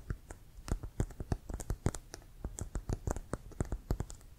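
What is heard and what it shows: Fingertips and nails tap and scratch the panels of a full-size, inflated, hollow brown Wilson composite leather American football with laces, held in front. The result is a quick, irregular run of soft, dull, hollow thumps, each with a brief bright click on top and almost no ring, over a faint background hiss.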